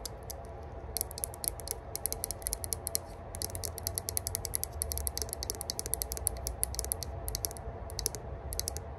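Long burgundy nails scratch and tap rapidly across the flat metal top of a small, hollow rose-gold metal herb grinder whose lid is engraved "Spark." The result is bursts of sharp, bright, ratchet-like clicks with almost no ring, over a steady low rumble that holds throughout.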